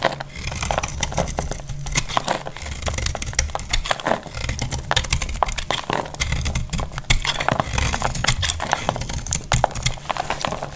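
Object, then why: Bar of soap. A solid, dry white bar of soap held in the hand is shaved into flakes with a utility-knife blade over a grey cloth. Quick, continuous scraping strokes give off dense crisp crackles and bright ticks over a steady low hum. Flakes fall away from the bar with each stroke.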